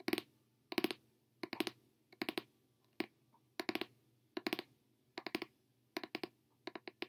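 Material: Paper, card.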